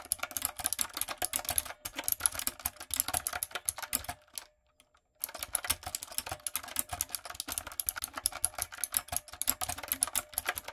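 A backlit, typewriter-style mechanical keyboard with round retro plastic keycaps and a hollow plastic body is typed on with long coffin nails and fingertips. Rapid, bright, clicky keystrokes clatter in a steady stream, stop briefly for under a second near the middle, then resume at the same quick pace until the end.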